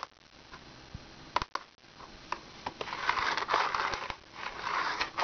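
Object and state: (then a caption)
Plastic wipes case. Long red nails tap and scratch the lid and sides of a small, hollow, rectangular plastic wipes case with a monkey print, held in the hands. Quiet, sharp plastic clicks scattered through the first half give way to louder, rough, continuous scratching centered in the midrange, with little low end and no ring after each tap.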